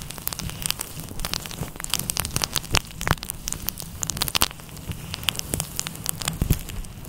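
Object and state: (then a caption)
Faux fur microphone windscreen being scratched. Fingertips and nails of both hands scratch and rub a fluffy grey-white synthetic fur windscreen over a microphone. Dense, crackling bursts of bright, high scratches and clicks sit over a steady low rumble. The rustling continues without pause for the whole clip.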